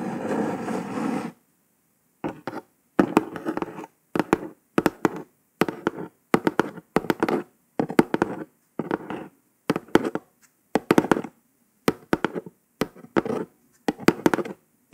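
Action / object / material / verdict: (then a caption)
tap / kraft cardboard box lid / cardboard / none. Long nails rub across the top of a brown kraft cardboard box for about a second, then tap fast in quick bursts with short silences between them. The taps are dry and papery, with little ring after each one.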